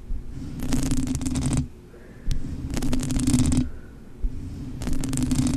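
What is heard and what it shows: Long manicured nails scratch and tap across the soft, hollow-backed black foam windscreen on a blue USB microphone. Three bursts of bright, crackly scratching rise over a steady low, muffled rumble, with a sharp single tap between the first two bursts and another before the last.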